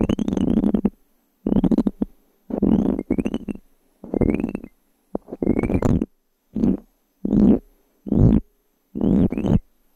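A small, solid, light-wood blank cube die is held in one hand between two microphones and scratched with long fingernails across its faces and edges. The result is a series of close, dry, raspy scratching bursts separated by brief silences, with a warm low body and a bright, crisp edge.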